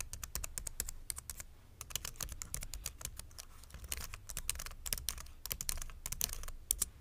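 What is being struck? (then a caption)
Plastic mechanical keyboard. Fingertips type steadily on a white plastic full-size mechanical keyboard resting on a wooden board, producing a rapid run of sharp, bright key clicks with brief pauses. The clicks are dry and short over a low background rumble.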